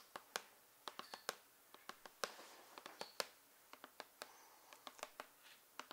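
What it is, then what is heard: Cardboard box, tapped. Fingertips and long painted nails tap on the side of a large, hollow, printed cardboard Wii U retail box (Super Mario 3D World Deluxe Set) standing on a table. About 24 sharp, dry, bright clicks come at an irregular pace with almost no ring, and brief soft scratching sounds fill the gaps between some taps. Overall the sound stays quiet and close.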